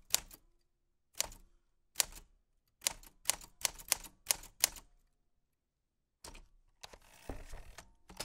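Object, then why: Metal typewriter keys and typebars. White-gloved fingertips press the round keys of a black 1940s Smith-Corona portable typewriter with a metal body and paper loaded. Nine separate, sharp, bright key clicks and typebar strikes ring out with short gaps. After a pause comes a denser stretch of clattering and rustling mechanical noise.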